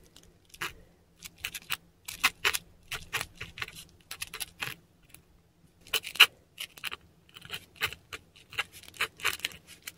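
A metal dip pen nib scratches across a flat sheet of textured Korean paper, close up, writing Japanese characters in ink. Short, dry, bright scratchy strokes come in quick bursts with pauses between characters, with no ring and a faint low hum underneath.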